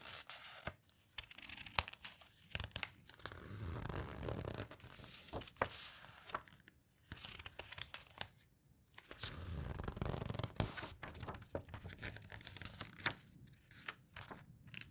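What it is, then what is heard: Glossy paper book pages being rubbed and turned. Flat hands and long nails rub, squeeze and turn the glossy paper pages of an open hardcover guitar book. Dry, tearing-like rustles and crinkles are broken by sharp, quick-dying paper snaps and nail taps. Two longer, fuller swells of low, soft rubbing come in the middle and near the end.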